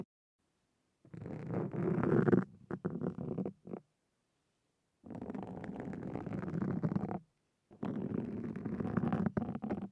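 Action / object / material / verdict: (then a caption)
scrape / foam microphone windscreen / foam / none. The fine metal tips of two wooden-handled carving tools scratch a black foam windscreen on a Zoom recorder, producing a dense, muffled, low-pitched scraping rumble. It comes in long bursts broken by short gaps and pauses, with little high-frequency content.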